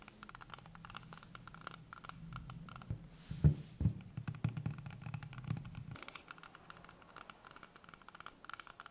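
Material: Apple.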